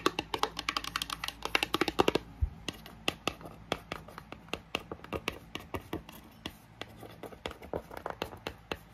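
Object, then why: Small printed cardboard box. Long nails tap fast on the faces and edges of a small, hollow, pink printed cardboard box for a Lightning cable, making about 43 short, dry, bright clicks with no ring. The taps come in a dense flurry for the first two seconds, then space out. A fan hums steadily in the background.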